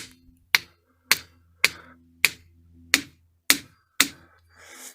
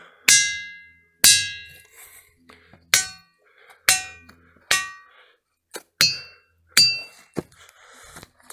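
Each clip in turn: First: Seven sharp hammer clacks on a boulder, each dying almost at once: a dense, dull rock with no ring. Second: Hammer blows on a boulder give bright, bell-like clangs that ring on for a good half second.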